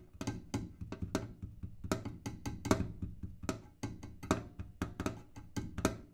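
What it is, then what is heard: Kerosene can. A kerosene can is tapped in a quick, irregular series of short, dry knocks. Each tap has a hollow, low body with a brief bright edge and dies away almost at once.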